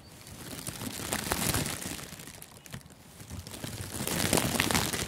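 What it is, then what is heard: Crinkling plastic gift wrap film. Fingertips squeeze and crumple thin, clear, crinkly cellophane-like plastic gift wrap that loosely covers a furry-windscreened microphone outdoors. Dense, bright crackling and crinkling comes in a steady rush with a low rumble underneath. It swells, dips in the middle, and grows loudest near the end.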